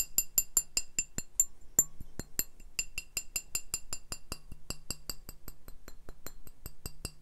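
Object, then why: Glass beer bottle. Glass beer bottles are tapped in a steady stream of short, bright clinks with high ringing overtones and very little sustain. The taps come at an uneven pace of roughly two to three per second, about two dozen in all, with a faint low hum underneath.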